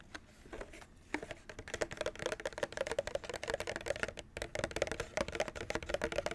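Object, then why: Plastic clamshell package. Fingernails tap quickly on the top edge and front of a white plastic clamshell package holding a Nintendo Switch controller, visible through its clear window. A fast, uneven run of quiet, crisp plastic clicks, each dying almost at once, with a faint hollow tone near 550 Hz.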